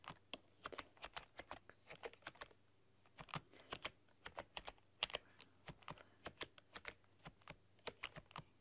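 Fingertips and long painted nails type rapidly across a full-size black plastic keyboard with rainbow LED backlighting. The result is quick, bright, dry key clicks in uneven bursts with brief pauses, over a faint steady low hum.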